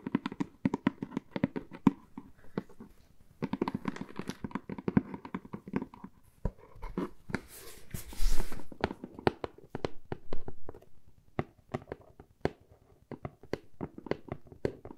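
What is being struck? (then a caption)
Corrugated cardboard box. A medium hollow corrugated cardboard box printed "AMY" is held close and tapped and scratched on its sides with long fingernails. Many quick, dry taps come in bursts, with short papery scratching around the middle of the clip and a muffled, low-heavy tone throughout.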